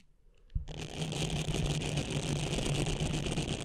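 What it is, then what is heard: Silicone cleansing pad being scratched. Long painted nails and fingertips scratch and rub the bristled surface of a small, flat, blue textured silicone facial cleansing pad held over the microphone. After a brief quiet start and a soft thump, a dense, continuous, fast scratching begins, bright and hissy over a low rumble close to the mic.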